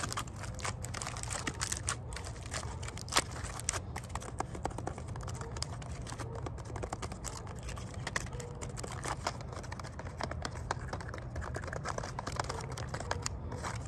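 Fingers tap rapidly and continuously on the bark of a tree trunk outdoors in a park, making dry, crackly clicks over a steady low background rumble. Some bark splinters and breaks off during the tapping.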